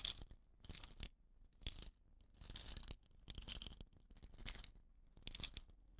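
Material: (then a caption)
Bamboo. Fingers and short nails scratch and rub the woven rattan end cap of a hollow, painted bamboo rain stick while the stick is tilted. The result is a series of dry, crunchy scratching bursts, bright and hissy up top with a soft low rumble underneath. Quiet gaps fall between the bursts.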